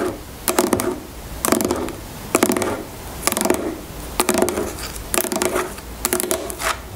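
Long fingernails tap and scratch the top of a medium-size, hollow plastic shampoo bottle that lies on its side on a table and appears filled with liquid. Seven bursts of quick clicking taps and scratchy strokes come roughly a second apart, with a hollow plastic resonance around 355 Hz and bright, crisp clicks. Each burst dies away almost at once between taps.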